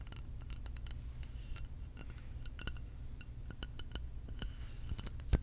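Long acrylic nails tap on a tall glass lava lamp vessel filled with blue liquid and wax and topped with a metal cap. They make a quick, irregular run of light, bright clicks that die away almost instantly. A steady low hum runs beneath them.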